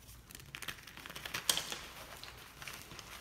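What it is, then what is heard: Gym chalk block being crushed. A solid white gym chalk block of magnesium carbonate is held and crushed between both palms and fingers over a pile of chalk blocks and powder. Soft, dry crumbling and squeezing crackles are heard, mostly bright and high, with a sharper crack near the middle as the chunk breaks apart.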